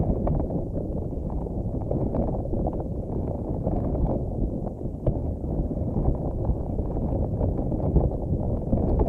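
A pink spiky silicone or rubber puffer ball is held in both hands while long nails and fingers comb through, pluck and squish its flexible spikes. The result is a steady, dense, low rubbery rustling and squishing, with small soft plucks throughout and almost no bright content.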